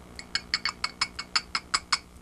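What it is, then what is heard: Glassy-sounding fossilized rock. Two halves of a mineralized fossil rock, shaped like a fried chicken leg and worth about $100 each, are tapped gently together eleven times. Each tap is a bright, glassy clink with a very short ring, like dishes or glass, showing the hard, glass-like fossil material.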